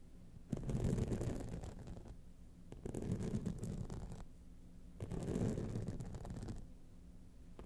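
Long nails scratch both sides of a gold rhinestone-studded clutch wallet standing upright. Three quiet bursts of dense, gritty scratching rise and fade, heavy in low rumble with a faint bright hiss, separated by short near-silent gaps.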